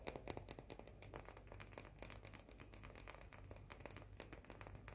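A small round cookie with a white chocolate coating is tapped and scratched with long painted nails, making a fast, continuous run of bright, dry clicks and scratchy rasps that stop instantly with no ring. A steady low hum sits underneath throughout.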